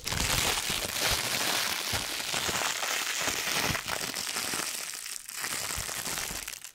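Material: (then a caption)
Plastic. A thin, crumpled, iridescent holographic plastic packaging sheet about the size of a hand is held in both hands and crinkled and scrunched with the fingertips close to the microphone. The result is a dense, continuous, bright crackle with little low end and no clear separate hits. There is a brief dip just past five seconds before it picks up again and fades at the end.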